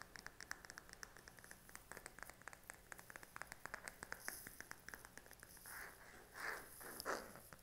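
Fingernails tap and scratch the back of a smartphone in a pink silicone case held upright. Quick, irregular, soft clicky taps run steadily through the first half. Toward the end they give way to longer, swelling scratching strokes across the case.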